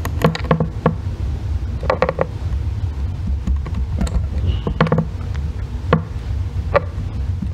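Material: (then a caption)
Soap. A solid, palm-sized green bar of soap resting on a white box is scraped and carved with a thin metal blackhead remover loop tool held in the fingers, with long red nails steadying the bar as shavings fall. Short, dry scraping strokes and light clicks sound over a steady low rumble, each one dying away almost at once.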